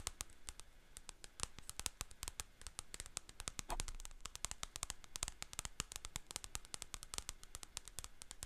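Long painted fingernails tap and scratch the glossy paper cover of a solid paperback book, "Haunted Houses & Scary Mysteries," held upright in front of a microphone. Dozens of quick, sharp, bright clicks rattle out in a rapid, uneven stream over a soft scratchy hiss, each dying away almost instantly.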